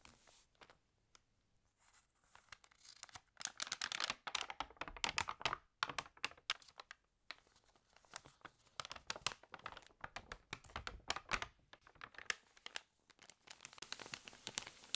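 Fingernails tap and scratch across the pages of an open, water-damaged glossy paper magazine, and the pages are turned. Dense, bright crinkling and crackling bursts come in quick clusters, with almost no low end and short pauses in between.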